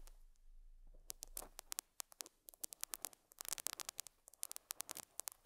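A metal dental scaler hook scratches and picks at a small square beige felt pad fitted on a lapel microphone. After a second of faint low hum and hiss, around thirty sharp, bright, dry clicks and scratchy ticks arrive, some singly and some in quick clusters, each dying away almost instantly. The overall level is quiet, with the bursts standing out clearly against the soft background.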